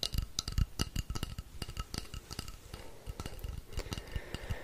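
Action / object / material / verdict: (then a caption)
tap / wooden rainstick tube / wood / none. A long, hollow painted wooden rainstick is held upright while fingers tap and scratch along its length. The result is a dense run of quick, dry taps, each with a low hollow thump and a bright clicky edge, over a soft scratching rasp between them.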